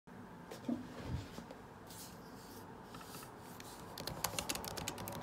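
Fingertips type quickly across a 2017 MacBook Pro butterfly keyboard with low plastic keycaps set in an aluminum body. The result is a stream of quick, irregular taps: short, dry, bright clicks with almost no ring, growing denser and sharper toward the end over a faint steady background hiss.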